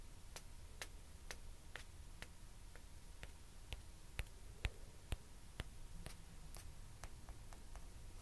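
Two small hollow white plastic ping pong balls are tapped with long nails and tapped against each other. The result is a steady series of quiet, sharp, dry ticks at a moderate, slightly uneven pace, each bright click dying away almost instantly over a low background hum.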